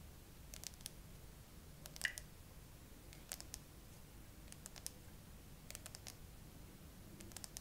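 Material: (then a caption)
Glass. Long acrylic nails tap the frosted glass back of a gray iPhone with no case, resting on a tripod, using both hands at a slow pace. The taps are short, dry, bright clicks that die away almost instantly, arriving in small scattered clusters over a quiet low rumble.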